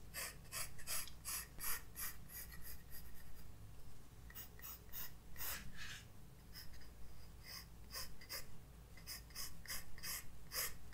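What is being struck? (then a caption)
Graphite pencil on a paper sketchbook page. A graphite pencil draws and shades on a white paper page of a spiral-bound sketchbook resting on a desk. Short, bright, scratchy strokes come in quick bursts over a steady low hum. The strokes vary in length and intensity as the pencil moves across the paper.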